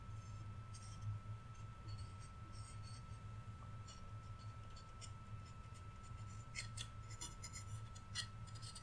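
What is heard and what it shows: Fingertips and nails scratch and rub the wooden antlers of a flat, solid, painted wooden Rudolph reindeer cutout. Soft, bright, dry scratching bursts come and go over a steady low hum and a faint constant mid-pitched tone. The sound stays quiet throughout, with the scratches growing denser and brighter toward the end.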